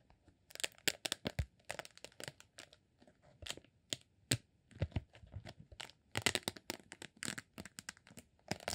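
A partly rolled green honeycomb beeswax sheet is unrolled and rubbed with fingertips. The result is a rapid series of dry, bright crinkling and crackling bursts with faint low thumps, each dying away almost instantly.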